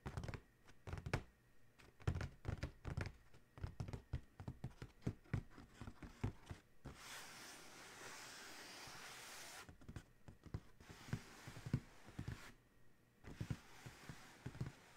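Fingertips of both hands tap and scratch the closed lid of a large, hollow, black cardboard Adidas shoe box. Quick, soft, low thumps come in uneven clusters, broken by a steady, bright scratching hiss in the middle and again briefly near the end. The taps are dull and hollow and die away almost at once.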